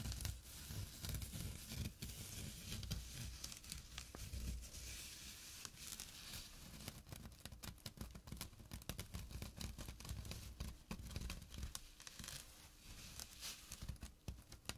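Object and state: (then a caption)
Burlap pouch scratched. Fingertips and short nails scratch a small, flat burlap pouch with a drawstring. The result is a steady run of dry, rough scratching and crinkling with a bright, coarse texture over a low rumble, continuing for about 15 seconds.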